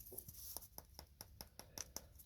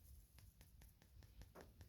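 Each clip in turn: First: dried-out hollow gourd. Second: gourd not yet dried, still full.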